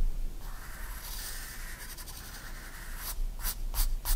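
A 4B pencil draws small strokes on a white paper sketchbook page lying flat, making a soft, steady scratching. A longer continuous scratch runs through most of the clip, followed by four short, brighter strokes near the end over a low background hum.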